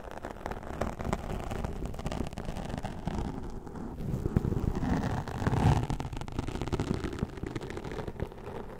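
The tips of a plastic comb scratch along the top edge of a black foam windscreen on a microphone. The result is a dense, low, rumbling crackle of rapid scratches with almost no high end. It swells louder toward the middle and then eases off.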